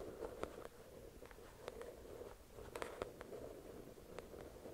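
Long acrylic nails tap on the glossy cover of a thick paperback novel resting on a white cloth. The result is a quick, irregular series of light, dry clicks that die away at once, with a soft hollow midrange tone over a faint steady hiss.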